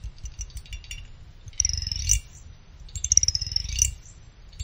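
A small pick held in the fingers scrapes across the side fins of a small finned aluminum CPU cooler heatsink. Two drawn-out scrapes each give a bright, high, whistling ring over a faint low rumble, with light ticking clicks between them.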